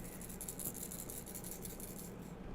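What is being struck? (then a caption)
Metal blade bait fishing lure with loose beads inside. A metal blade bait fishing lure with beads inside is shaken by hand, giving a quick, steady rattling chatter of the beads inside the metal body. The rattle is clearly audible and loud, making the lure noisy, as intended for attracting fish in the water.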